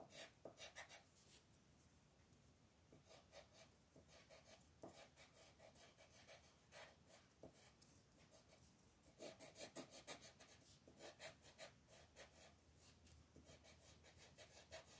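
A green colored pencil shades a flat paper coloring book page of festive Mexican Talavera designs resting on a table, while the other hand, with long red nails, steadies the sheet. Continuous, irregular scratchy rubbing strokes are heard, with bright, papery rasping that rises in intensity toward the middle and end.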